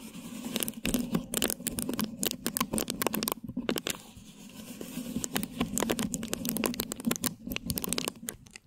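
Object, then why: Plastic film stretched over a microphone head. Clear plastic film stretched over a hollow, round mesh microphone head is scratched with long lilac nail tips from both hands. Dense, crinkly scratching and tearing-like clicks come in rapid bursts, with bright crackle over a steady low-mid hum. The taps are too many and too close together to count individually.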